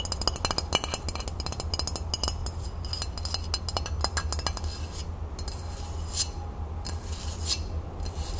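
A flat rectangular glass decorative tray with a printed crown design, frosted underside, lace print and label, is held tilted above a wooden table and tapped and scratched with long natural nails on a hand wearing a large ring. Rapid, crisp, bright clicking taps fill the first five seconds. They give way to airy, hissing scratch strokes over a steady low hum.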